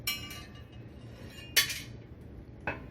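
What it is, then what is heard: Empty metal appliance cavity. A piece of metal is dropped into another opening of a Samsung front-load washer/dryer's metal cavity, giving three bright, short metallic clinks, the middle one loudest. The high-pitched ting marks this spot as empty.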